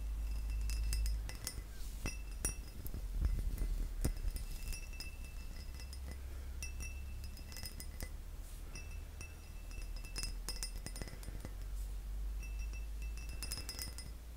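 A glass object is tapped with the fingers, producing a quick, irregular run of light clinks and chinks with bright, short ringing tones. A steady low hum runs underneath the tapping throughout.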